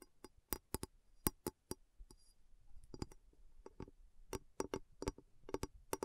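A glass bowl is tapped in an uneven rhythm, giving about twenty short, sharp clicks with a bright top and a faint low body around 330 Hz. Each tap dies away almost at once, with only brief pauses and a light high rustle between them.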